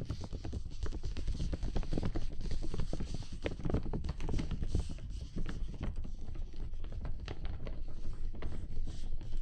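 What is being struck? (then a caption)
Clear thin plastic (PVC) umbrella canopy. Fingertips and nails tap and scratch the outside of a large, transparent dome umbrella made of thin, flexible PVC plastic with white ribs, held over a binaural microphone, its hollow, empty canopy dotted with water droplets. A dense, steady run of quick, soft, dull taps and scratches is heard, mostly low and thumpy, each dying away almost at once.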